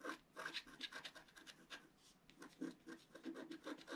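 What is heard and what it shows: A wooden stylus tip scratches a flat, black-coated paper scratch-art card held down by one hand. It makes a quiet run of short, dry rasping strokes with bright, hissy edges and a soft papery body, each stroke stopping almost at once.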